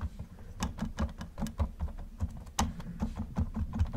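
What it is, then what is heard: Plastic toy car. Gloved fingers tap and rub the roof of a hollow yellow plastic Camaro model car, then rotate the car near the end. The result is a string of soft, dull, low-heavy taps with quick, dry decay and faint brushing scrapes in between.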